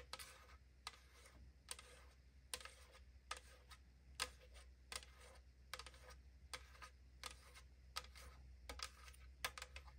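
Long acrylic nails tap and scratch on the side of a tall AriZona aluminum can held in hand. Sharp, bright metallic clicks with a very short ring come at a steady pace, with soft scratching between them over a faint low hum.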